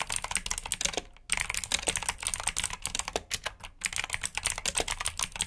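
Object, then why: Plastic mechanical keyboard. Both hands type with their fingertips on a full black plastic mechanical keyboard with blue switches, resting on a brown mat. Rapid, bright, clicky keystrokes run continuously, pausing briefly around the one-second mark and again near four seconds. Each click is sharp and short with almost no ring.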